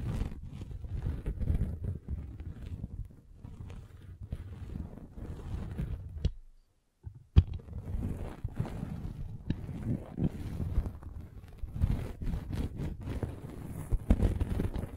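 A metal-spiked derma roller is rolled over a red velvet bag covering a microphone, producing a dense, muffled low rumble with soft scratchy friction. The rolling pauses into near silence for about half a second around the middle, then resumes with a sharp tap.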